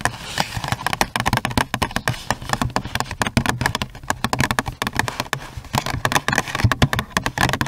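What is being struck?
Cardboard gift box with clear plastic window.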